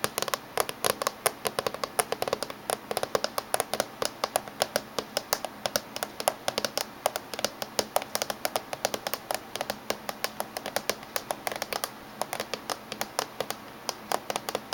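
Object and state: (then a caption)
Laptop casing tapped with fingernails. Fingernails of both hands tap on the top surface of a closed silver laptop casing. A rapid, steady run of short, dry clicking taps lasts throughout, each one bright and quickly damped with almost no low end.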